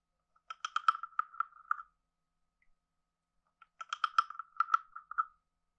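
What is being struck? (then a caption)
Carved hollow wooden frog guiro scraped with a stick. A hand-sized hollow carved wooden frog guiro is played with a wooden stick scraped along its ridges and tapped. Two bursts of quick, dry clicking croaks with a hollow, woody tone ring briefly, separated by a pause of about two seconds.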